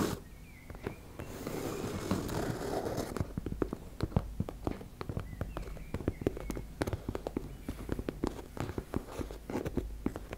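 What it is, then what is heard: Fabric cosmetic pouch tapped and scratched with nails. Long nails tap and scratch on a teal embossed-fabric makeup bag. A soft, rustling scratch swells early on, then gives way to rapid, dry, close-up taps with almost no ring.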